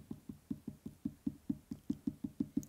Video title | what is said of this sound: Ça vaut le détour!: Arcades | quand ça sonne comme un tambour